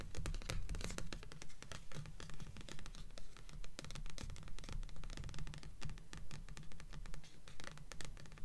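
Long nails scratch the glossy cardstock cover of a stack of paperback books on a table, with "Delirium" on top. The scratching comes as rapid, fairly steady strokes, each a bright, crackly rasp over a dominant low, dull thump from the solid stack.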